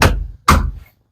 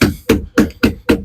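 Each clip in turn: First: Two heavy, dead thuds low in pitch with almost no ring: the tire's bottom is packed with fluid. Second: Five evenly spaced thumps on a tractor tire, low and boomy, dying out fast: hollow air space above the fluid.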